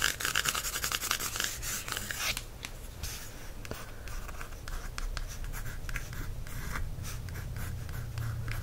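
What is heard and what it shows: A steady run of short, dry scratches and rasps, bright and hissy with no ring at all, each stroke dying at once. It is a wooden tip dragged over a matte paperback cover; the soft card damps everything. A faint low hum sits underneath.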